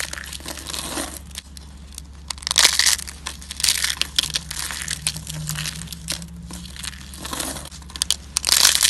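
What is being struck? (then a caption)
Slab of bar soap. Fingertips press and crush a flat, solid, dry pink bar soap slab that is already scored into strips and partly shattered, snapping off brittle flakes that scatter onto a white surface. Bright, dry crunching and crackling bursts with sharp snaps rise and fade over a quiet low hum.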